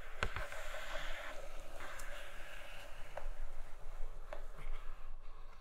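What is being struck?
Cardboard box with clear plastic window.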